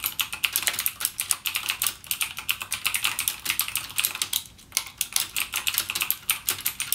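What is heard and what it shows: Fingertips type rapidly on a backlit plastic mechanical gaming keyboard with clicky Cherry MX Blue switches. The result is a fast, steady stream of sharp, bright clicks with almost no low end, and each keystroke dies away almost instantly.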